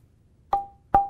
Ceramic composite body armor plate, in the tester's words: this one's only partially delaminated so you can hear chimes and thuds throughout the plate